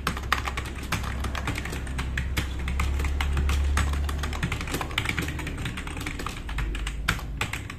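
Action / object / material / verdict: tap / plastic mechanical keyboard / plastic / none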